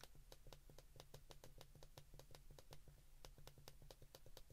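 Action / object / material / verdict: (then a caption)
tap / plastic flip phone keypad / plastic / none. Thumbs and index fingertips rapidly press the number keys on an open white plastic flip phone. The result is a quick, uneven stream of short, crisp plastic clicks with bright ticks, heard over a steady low hum at a quiet level.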